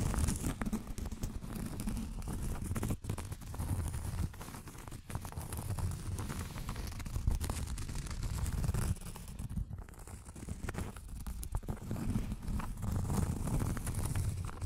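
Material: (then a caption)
Cork. Long acrylic nails scratch across a round, thin, solid cork coaster. The result is a steady, dull, low scraping and rustling made of many quick, overlapping strokes, with little brightness.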